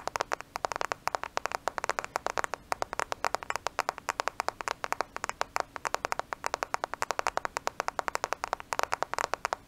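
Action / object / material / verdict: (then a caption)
tap / smartphone, glass and plastic body / glass, plastic / none. A black smartphone with a glass and plastic body is held in both hands close to the microphone and tapped quickly with the fingernails. About 83 sharp, dry clicks follow in a fast, steady patter over nearly ten seconds. Each click is bright and midrange, with almost no ring or low end.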